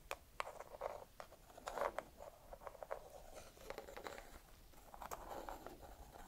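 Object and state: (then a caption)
Walnut in shell. A single small whole walnut with a hard, hollow woody shell is held in one hand and scratched and tapped with long red acrylic nails. The result is a quiet, steady stream of short, dry clicks and raspy scratches with a hollow, woody tone centered around 1 kHz. Each click dies away almost instantly.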